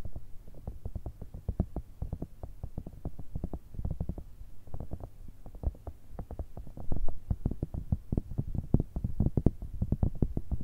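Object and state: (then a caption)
Silicone pencil case. Long red nails tap rapidly on a grey, hollow, soft silicone pencil case shaped like a cylindrical cat with a zipper, held upright. Dozens of quick, dull, muffled taps land in an uneven rhythm, each a low, soft thud that stops almost instantly with no ring.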